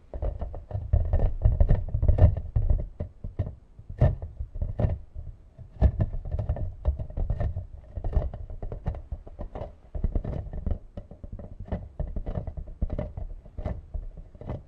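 A hand-sized, hollow, translucent glittery green plastic toy ball is held close and tapped and scratched with long nails. The result is a dense, irregular stream of quick, dull hollow taps and scratchy rustles that die away almost at once, heavy in low thuds with faint higher clicks.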